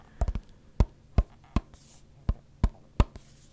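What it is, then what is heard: Small metal makeup tin tapped with fingertips. A small, flat pink "Just Peachy" eyeshadow palette, likely a metal tin, is held in one hand and tapped and scratched with the fingertips and nails of the other. A quick cluster of taps is followed by slower, irregularly spaced taps, each a dull, low thud that dies away almost at once, with faint bright scratching between them.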